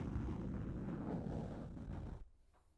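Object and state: Plastic shower cap over a microphone.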